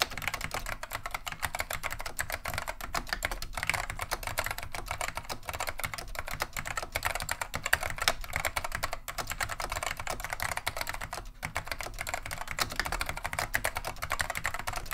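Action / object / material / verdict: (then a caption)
tap / plastic mechanical keyboard / plastic / none. Continuous two-handed fingertip typing on a beige plastic vintage Wang 725 mechanical keyboard fitted with Alps SKCM Neon Green/Lime switches. Dense, steady streams of crisp, short clacks carry bright upper tones over a soft low thump, with each keystroke dying away almost instantly.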